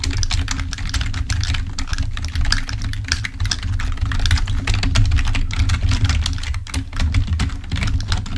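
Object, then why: Plastic computer keyboard. Fingertips of both hands type rapidly on a full-size black plastic membrane keyboard resting on a table, producing a dense stream of soft, bright clicks and taps. A steady low hum sits underneath the typing throughout.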